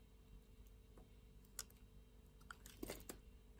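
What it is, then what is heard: Bar of soap being cut. A solid light blue bar of soap, held in a hand with long nails, is shaved and carved with a utility knife blade. Quiet, soft scraping is broken by several short, crisp cuts with bright clicks, spaced apart over a low steady hum.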